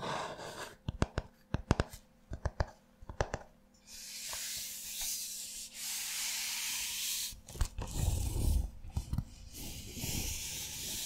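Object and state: Paper notebook page.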